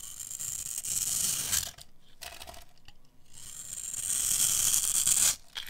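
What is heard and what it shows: A metal blade carves small cubes off a hand-sized pink bar of dry soap scored with a grid of cuts. It makes a crisp, bright scraping and crackling that is almost all high-frequency, in two long bursts separated by quieter, softer stretches. Small crumbly pieces break away as the blade moves through the soap.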